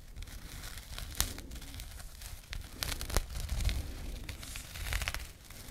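A small, flat, soft burlap/jute pouch with a label is scratched with long painted nails. The result is a dry, crackly rustling with sharp bright scratches and a few louder snaps over a low, steady rumble.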